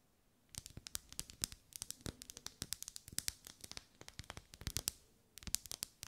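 Long nails tap and scratch the ribbed wax of a lit, solid pink ribbed wax pillar candle held in both hands. After a brief silence, a rapid, quiet run of sharp, bright clicks and scratchy crackles follows, each dying away almost instantly. The sound pauses briefly, then resumes with a final cluster.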